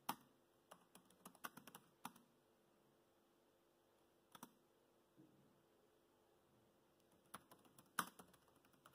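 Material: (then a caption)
Plastic. Fingertips type on the black plastic chiclet keys of a dark grey laptop, producing quiet, short, crisp clicks with almost no ring. The keystrokes come in irregular bursts separated by long silent pauses, with a slightly louder tap near the end.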